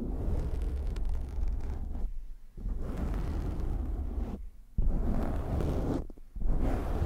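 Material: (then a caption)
Foam. Hands cup a black foam windscreen on a microphone, then fingertips scratch it, producing a dense, muffled rumbling scrape concentrated in the low end. The scratching comes in sustained bursts broken by three brief dips where the sound thins out before resuming.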